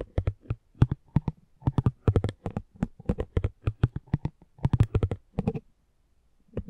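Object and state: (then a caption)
Cardboard trading card. A metal spiked pinwheel is rolled across the face of a small, thin cardboard driver trading card held in the hand. It makes rapid bursts of short, dry, low-toned clicking taps with no ring. The bursts fall silent briefly near the end before a final faint burst.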